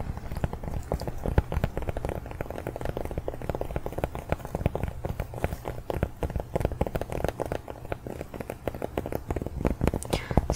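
A small cork coaster is tapped rapidly and continuously, giving dense, dull, low-pitched knocks that die away almost instantly. The taps come too fast to count individually, with a faint crackly texture between them.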